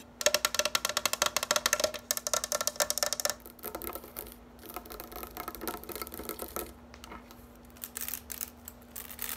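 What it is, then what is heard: Plastic grass drying rack. Long nails rake and scratch across the many upright, flexible blades of a green plastic grass drying rack on a white base. A fast, dense burst of bright, crisp plastic clicks and rasps fills the first three seconds. Quieter, softer scratching follows, broken by short pauses, over a faint steady low hum.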